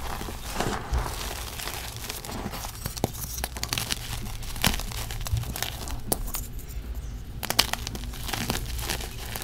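Bare fingertips and palms break apart pressed, brittle, solid gym chalk slabs made of magnesium carbonate and sand in a plastic tub full of loose powder, rubbing the crumbs into powder. Dense crinkly crunching and gritty rubbing fill the clip, with sharp bright snaps as pieces break, over a steady low rumble.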